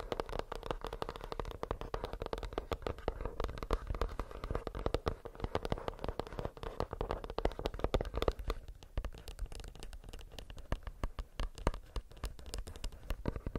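A plastic earbuds case is tapped with the fingernails in a fast, steady patter of short, dry clicks. The taps are soft and close together, and they thin out and sound lighter after about eight seconds.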